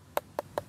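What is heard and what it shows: A fruit still on the tree is tapped with a knife or piece of wood to judge whether it is mature. Three short, dry knocks with a hollow midrange tone and almost no ring. No verdict on which tap belongs to which fruit.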